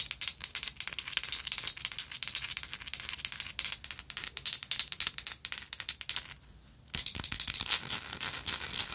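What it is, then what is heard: Textured metal lighter tapped and scratched with nails. A small, hollow, vintage gold-tone textured metal lighter is tapped with long nails and handled, producing a dense run of quick, bright clicks and scratchy rattles. The clicks stop briefly near the end, then resume.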